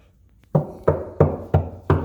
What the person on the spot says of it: You hear that knocking? That is the soundboard.